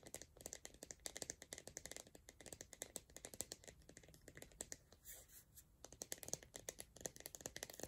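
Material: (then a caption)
Plastic. Long nails tap and scratch the sides of an empty, hollow pink plastic Soap & Glory 300 ml tub with a lid. The result is a rapid, dense stream of dry, bright plastic clicks and ticks, with a softer scratchy stretch near the middle. Each tap stops almost instantly, with very little low end.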